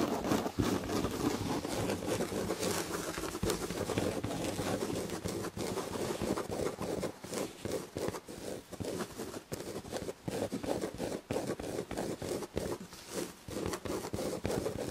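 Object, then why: Fabric-upholstered chair back. Long red nails slowly scratch the red and gold damask fabric upholstery on a chair back. The result is a steady, dry scratching rustle centered in the low-mid range, broken into irregular strokes with brief gaps in the second half.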